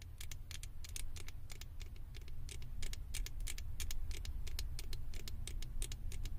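Long acrylic nails scratch and tap the ears of a small hollow blue plastic Stitch head mounted on a microphone. Rapid, crisp, bright clicks and taps land close together over a steady low rumble, each one short and dry. The level rises slightly after the first second and stays even to the end.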